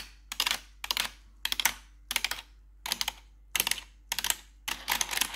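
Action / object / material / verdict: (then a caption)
tap / plastic computer keyboard keycaps / plastic / none. Four metal claw nails tap the keycaps of a black plastic backlit RGB computer keyboard. There are eight short bursts of rapid, bright, clicky taps, separated by brief silences, with very little low end.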